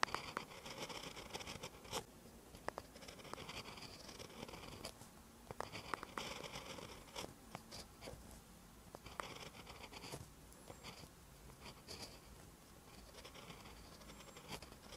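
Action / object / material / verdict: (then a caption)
scrape / metal-tipped pen on lined paper notebook page / paper / none. A metal-tipped pen writes green letters on a lined paper notebook page, heard in close-up. Soft, bright scratching strokes run continuously, broken by sharp little taps and clicks as the nib lifts and touches down.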